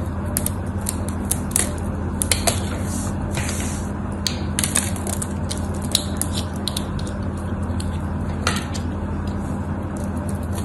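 A knife blade scrapes and carves cubes off a solid cream-white bar of soap, making a run of short, crisp, bright scraping and cutting clicks. The clicks sit over a steady low hum that fills the clip.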